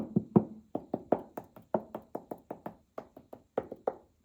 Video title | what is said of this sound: The 250 Year Old Secret Hiding In Our Walls... - You Won't Believe What We've Found! | it's just a cavity, isn't it? That sounds hollow.